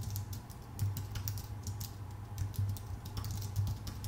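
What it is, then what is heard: Aluminum and plastic computer keyboard. Both hands type with their fingertips on a full-size white Apple Magic Keyboard, its plastic keycaps set on a thin aluminum body. A steady run of quick, light clicks and taps plays over a constant low hum around 100 Hz, with brief bright key snaps that die away fast.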